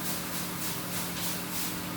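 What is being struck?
Nothing is struck.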